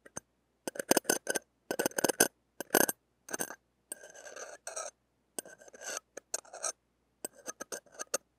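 A stainless steel ear-pick tip scrapes and taps across the hollow, dome-shaped wire-mesh metal grille of a small mini microphone with a blue metal body, held in the fingers. Close, crackly bursts of bright scratching and sharp ticks come in short clusters separated by brief silences, with a few longer rasping strokes in the middle.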